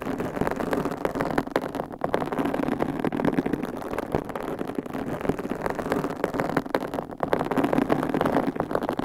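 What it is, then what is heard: Foam microphone windscreen being scratched and tapped. Long pink coffin-shaped acrylic nails grip, scratch and tap white foam microphone windscreens, with the hands staying on the foam covers throughout. The result is a steady, dense, muffled scratching and rustling, centered in the low mids with little deep or bright content, and small soft taps scattered through it.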